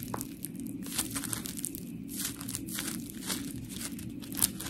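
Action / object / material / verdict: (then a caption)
scrape / polymer foam scrub sponge / polymer foam / none. A palm-sized, round, white, textured polymer foam scrub sponge with smiley cut-outs, solid, is squeezed and scratched with long pink nails. Dry, gritty scratching and crinkly, tearing-like bursts come in quick, uneven strokes over a steady low hum. Each stroke stops sharply, with a slightly louder scrape near the end.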